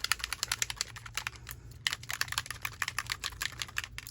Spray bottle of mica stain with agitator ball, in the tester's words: it took a minute to even hear that ball